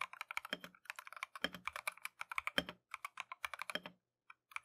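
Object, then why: Mechanical keyboard with plastic keycaps. A compact Keychron V1 mechanical keyboard with Tangerine switches and green-and-white Matcha plastic keycaps is typed on continuously with gloved fingertips. The result is a fast stream of short, bright, clacky keystrokes with very little ring, with a few deeper, heavier presses landing at intervals. The typing stops near the end, leaving a brief pause broken by a couple of isolated clicks.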